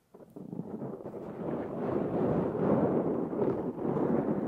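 Fingernails of both hands scratch the black foam windscreen on a Zoom H6 recorder. The dense, muffled, rustling scratch sits mostly in the low-mid range with almost nothing bright. It starts softly and builds over the first two seconds into a steady, loud, close-up crackle.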